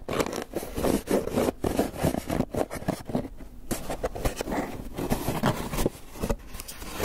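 Fingernails scratch and scrape the lid of a closed, hollow, white polystyrene foam clamshell takeout box. Quick, dry, raspy strokes come in uneven bursts with brief pauses, carrying a hollow, squeaky midrange tone and very little brightness.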